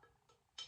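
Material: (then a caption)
Osage orange. An Osage orange wood axe handle, very dense and solid, is tapped once, giving a bright, tinny ring centered around 3 kHz that fades quickly. A few faint, soft knocks come before the tap.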